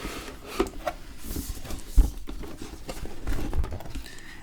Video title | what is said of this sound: ASMR Roleplay Solid Snake Reviews 7 Boxes - Soft Spoken + Tapping - Metal Gear Solid | It's just an empty box now.